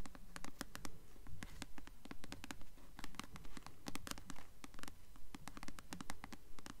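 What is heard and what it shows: Long nails scratch and tap the glossy paper cover of a solid paperback novel, "Delirium," held upright. Quick, sharp clicks with a bright edge repeat at a steady, even pace, layered over soft scratching and a low, dull body resonance.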